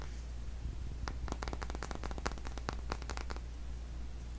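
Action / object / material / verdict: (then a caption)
tap / small glass dropper bottle / glass / none. A small glass skincare serum dropper bottle with a white label and dropper cap is held in the hands and tapped with fingernails along its body, first upright and then on its side. The result is a quick run of light, bright clicking taps with a very short ring, set over a steady low hum.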